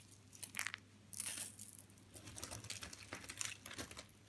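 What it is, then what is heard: Dry soap shavings crumbling. Hands grab a handful of thin, curled white and blue dry soap shavings and crush and crumple the brittle, solid flakes between their fingers and in a fist. The result is a stream of dry, bright crackling and crunching with short sharp snaps, the loudest burst coming early as the fist closes.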